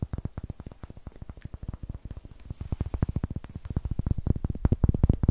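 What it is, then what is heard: Pine wood block. A solid, light pine wood block held in the hand is tapped on its sides while long nails scratch its rough, greenish end grain. About 36 quick, dry, low knocks come in an uneven, rapid patter, each dying away almost instantly. The taps grow louder toward the end.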